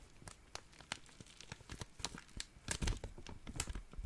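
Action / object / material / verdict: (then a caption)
scrape / small thin plastic zip-lock bag / plastic / none. A small, clear, thin, empty plastic zip-lock bag is crinkled with the fingertips. Quick, bright crackles and rustles come in a dense, uneven series, each snapping off almost at once. The crinkling grows louder and thicker near the end.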